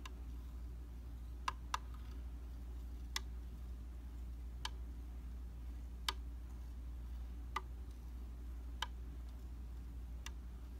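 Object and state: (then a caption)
Glass vanity mirror. The tip of a slim metal tool taps a round, solid flat glass tabletop makeup mirror nine times at uneven intervals. Each tap is a short, bright tick centered around 1.2 kHz that dies away almost instantly. A steady low hum runs underneath throughout.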